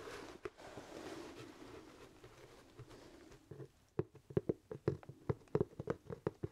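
Fingertips scratch and tap the leather crown of a hollow, empty black leather top hat held close. Soft, dull scratching and rustling fill the first half, then it turns into a run of crisp, quick taps with a hollow, muffled low-mid knock and almost no ring.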